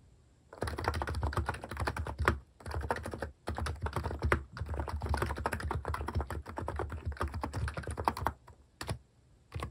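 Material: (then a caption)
Plastic. Fast fingertip typing on a compact plastic mechanical keyboard with plastic cat keycaps produces a dense stream of short, dry clacks with a low thocky body. The typing comes in bursts separated by brief pauses, with the occasional sharper, louder keystroke standing out.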